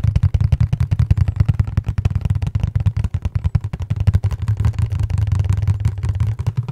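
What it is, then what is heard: Cardboard box, hollow. Fingertips rapidly tap and scratch a flat, dark printed cardboard product box with colored labels, hollow and held in both hands close to the microphone. The result is a quick, steady stream of dull, hollow, low thumps with almost no ring and very little high-end brightness.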